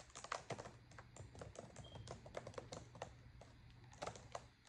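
Long acrylic nails type on a black plastic laptop keyboard, and one hand briefly rests near the touchpad. A quick, irregular run of crisp, bright key clicks and sharp nail taps plays over a steady low hum, with each hit dying away almost at once.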